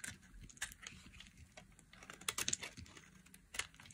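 A metal blade scrapes and cuts curls off the end of a solid, hand-sized orange bar of dry soap. The result is a steady run of crisp, bright scratching and crackling with several sharper snaps that stand out, and a few louder crunches near the middle and end.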